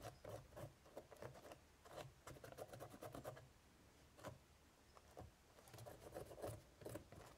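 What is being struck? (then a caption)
Woven straw basket lid. A cotton swab held in the fingertips scratches into the crevices of a hollow woven straw basket lid with a raised braided design. The result is soft, dry rubbing and rasping in short bursts, some clustered and some with brief quiet gaps between them.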